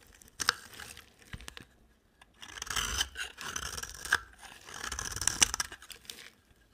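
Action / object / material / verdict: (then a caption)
scrape / bar of soap / soap / none. A utility-knife blade carves curls from a solid white bar of dry soap. Crisp, bright crunching and scraping strokes come in bursts, punctuated by sharp clicks and separated by short silences.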